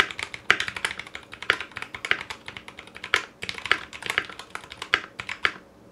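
Fingertips of both hands type quickly on a foam-lined 60% Clueboard mechanical keyboard in a metal case, fitted with Zealios V2 62g switches, GMK ABS plastic keycaps and a coiled cable. Each keystroke is a short, bright clack with almost no low end, and a few harder strokes, likely the spacebar or larger keys, stand out above the rest. The strokes stop dead with no ringing.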